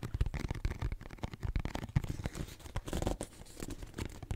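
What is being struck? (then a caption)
Cardboard tissue box. A pink cardboard tissue box, a hollow cube held up in both hands, is tapped and scratched on its flat side with long nails. The result is a quick, uneven run of short, dull, low thuds mixed with soft scratchy rustling, with almost no ring after each tap.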